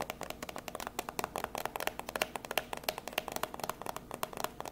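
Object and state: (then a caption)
Cardboard box tapped with nails. A small, hollow, white printed cardboard box used as microphone packaging is held up in one hand and tapped rapidly with long grey acrylic nails. About thirty quick, dry taps come in a fast, uneven stream. Each gives a brief hollow knock around the low-mid range with a bright clicky edge that dies away almost at once.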